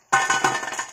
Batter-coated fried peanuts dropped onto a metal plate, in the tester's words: आपको आवाज से पता चल ही रहा होगा देखिए कितनी क्रिस्पी बनी है